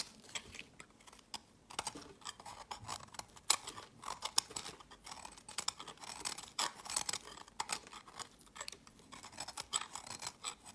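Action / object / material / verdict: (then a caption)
scrape / bar of soap cut with a utility knife blade / soap / none. A snap-off utility knife blade scrapes and carves a solid, hand-sized pink speckled bar of soap with orange and cream chunks, held in the hand, into crumbly shavings. Quiet, bright, crisp scraping and crackling strokes come in rapid irregular bursts, each dying away instantly, with almost no low end.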